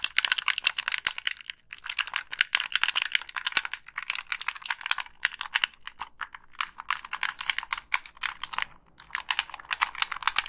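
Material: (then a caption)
Plastic. Long pink nails tap and scratch the shell of a hollow black Xbox 360 plastic gamepad and click its buttons. The result is a dense run of quick, dry, bright plastic clicks and scratchy taps with almost no low end, broken by brief pauses.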